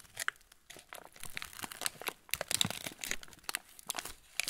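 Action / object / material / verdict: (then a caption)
scrape / plastic film cracker packet / plastic film / none. A full TUC cracker packet in yellow-and-clear plastic film is turned over in the hands while fingertips squeeze the wrapper. It gives off dense, bright, crisp crinkling and crackling in irregular bursts, with little low end and no lingering ring.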